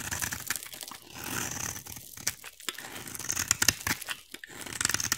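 A utility knife blade carves a solid, hand-sized oval bar of green soap, shaving off curls from the same bar throughout. The sound is dry, crisp scraping and crackly tearing, mostly bright with little low end, in uneven bursts of short crunchy strokes.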